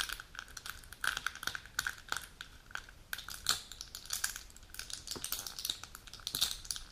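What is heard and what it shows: Long natural nails tap and click on a full plastic and foil pill blister sheet with plastic pockets, and the sheet is then lifted and handled. Quick, bright plastic clicks come in uneven bursts over soft crinkling, with almost no low end. Each tap dies away almost instantly.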